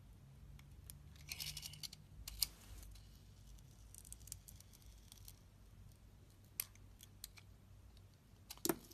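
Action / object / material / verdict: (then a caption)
scrape / bar of soap / soap / none. A utility-knife blade cuts and peels the outer layer off a solid glittery blue Nivea soap bar with a pink core, held in a hand with long red nails. Quiet, bright scraping and shaving sounds are broken by short, sharp clicks and snaps as the blade bites in, over a faint low hum.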